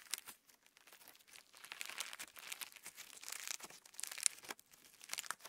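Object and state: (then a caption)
Clear slime with plastic star sequins. A lump of clear slime with plastic star sequins is squeezed and pulled apart by fingertips close up. It makes quiet, dense crinkling and crackling in rapid bursts, bright and high with no low end.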